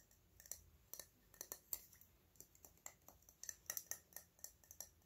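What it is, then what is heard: Metal spray bottle. Fingernails tap on a small, hollow, cylindrical silver metal spray bottle with a ridged cap. The result is a run of quick, light, bright metallic ticks with a faint high ring that dies almost instantly. The taps come at an irregular, unhurried pace, some soft and some sharper.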